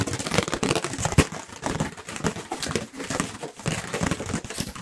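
A thin, light, white round paper plate is held up near the microphones and tapped and scratched quickly with the fingertips and nails of both hands. The result is a rapid, continuous stream of dry, papery taps and crinkly scratches, each hit short with almost no ring.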